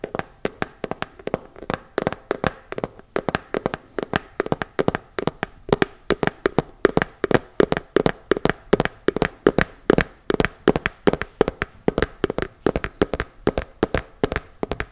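A small, hollow, round plastic cosmetic tub with a colorful printed lid is held in one hand and tapped quickly with the fingertips of the other. A steady run of short, dry taps carries a hollow tone around 390 Hz with a little high click, and each tap dies away almost instantly.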